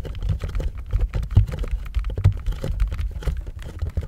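Fingertips tap and scratch a hollow white cardboard box labeled "THE BOX" in blue painter's tape, held up in both hands. A fast, uneven run of dull, low, hollow thuds comes through with soft scratchy rustling in between. Each tap dies away almost at once, leaving a muffled, boomy patter.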